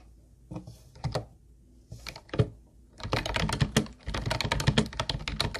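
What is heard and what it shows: Both hands type with their fingertips on a hollow teal plastic Ubotie keyboard with round white plastic keys. A few separate clacks give way to fast, continuous typing. Each keystroke is a short, dry plastic click with a hollow low thump and a bright top, and it dies out almost instantly.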